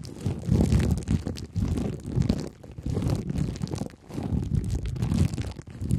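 Clear plastic cling film is stretched tightly over a head and scratched and tapped with two thin wooden sticks held in the fingertips. The result is a continuous low, muffled crinkling and scraping with many soft, dense taps, swelling and fading in uneven waves.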